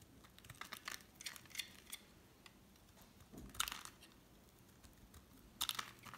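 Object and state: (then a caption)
Bar of soap being shaved. A solid cream oval bar of soap, held in the hand next to a pile of flakes, is shaved with a metal utility knife blade. Quiet, bright scraping and scratching strokes come in irregular bursts, with a few sharper crisp cuts standing out.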